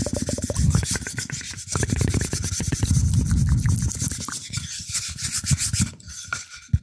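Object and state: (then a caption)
Wooden plate rubbed and scratched. Fingertips rub and scratch the flat surface of a round, shallow, light wooden plate held in both hands. The result is a dense, dry scraping texture with quick, irregular strokes over a heavy low rumble and a thin bright edge, fading slightly toward the end with one sharp final tap.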